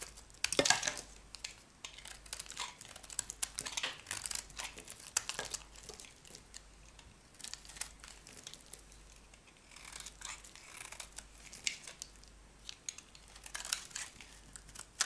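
A metal knife blade carves and scrapes a solid, dry cream bar soap, making a steady run of crisp, bright scratching and crumbling sounds. The sound comes in short, dense bursts with brief pauses between them. The quiet scraping is mostly high and dry, with almost no low end and very little ring.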